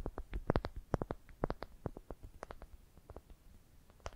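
Long dark painted nails tap and scratch the surface of a smooth, light-colored, solid wooden ball about the size of a palm, held in both hands. Around twenty short, dry, clicky taps come in an irregular, quick patter, with faint scratching between them. Each tap is low-toned and dies away almost at once.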